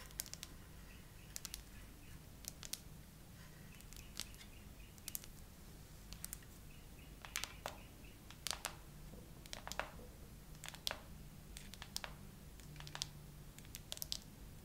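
Long acrylic nails slowly tap a phone in a clear glitter plastic case with 3D charms, mounted on a tripod, striking both the case and the charms. The result is a sparse series of short, bright, dry plastic clicks that stop instantly, over a quiet, steady low hum.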